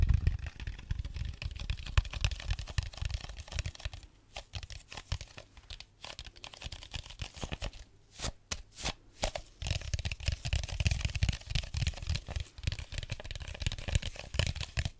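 An empty clear plastic drink bottle is crinkled and tapped with fingers and nails, giving dense crackling and crunching with a heavy low thump underneath. Around the middle the handling eases into sparser, sharp clicks and taps before the fuller crinkling returns.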